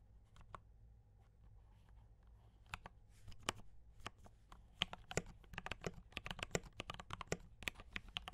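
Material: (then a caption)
Plastic. Fingertips type on a compact D84 mechanical keyboard with Gateron brown switches and cream and red plastic keycaps. A few scattered keystrokes build into continuous, quick typing of short, bright, dry clicks over a faint, steady low hum.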